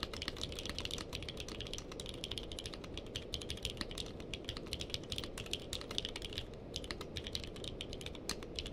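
Two hands type with the fingertips on a purple-cased mechanical keyboard with plastic keycaps. A fast, steady stream of short, bright clicks peaks near 3.6 kHz over a continuous low rumble. The clicks keep a constant, even level throughout with no real pauses.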